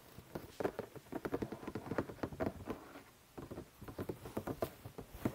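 Fingertips and nails tap and scratch the top of a medium-sized, hollow printed cardboard toy box lying in front of the microphone. The result is a quiet, dry, hollow patter of quick, muffled taps with short scratchy strokes, pausing briefly about halfway through before continuing.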